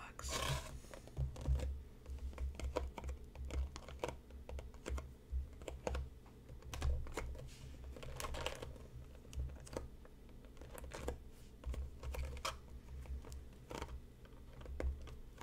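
Fingertips and nails tap steadily on the side of a closed, hollow, hand-sized rectangular printed cardboard Mighty Leaf tea box lying on a cutting mat. The taps make soft, dull, low thuds, with brief bright clicks where the nails strike. Each hit dies away quickly into a quiet background.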